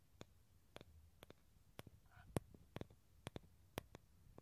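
Fingernails tap and scratch a small, hollow, halved dried gourd with a thin shell and an empty tan interior, held in both hands. The shell and inner surface give about a dozen sharp, dry clicks at an uneven pace, each dying out almost instantly. A brief, faint scraping tone passes between them over a low, quiet background.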